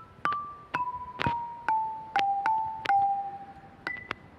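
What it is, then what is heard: Limestone lithophone bars. A hand strikes a marine-themed lithophone of long, solid grey limestone bars with relief stone carvings, bolted onto a stone frame outdoors, using a homemade mallet with a carbon fibre shaft and a rubber ball head. Each strike gives a bright, bell-like ping with a short ring. The melody steps gradually downward in pitch, then jumps to a higher note at the end.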